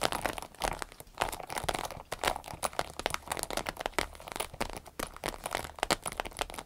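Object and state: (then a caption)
Vinyl zip pouch. A small green-yellow striped vinyl zippered pouch is held and tilted while long nails scratch and tap its glossy vinyl sides. The result is a dense run of quick, dry, crinkly taps and scratchy crackles, bright and close, with each sharp tick dying away almost instantly.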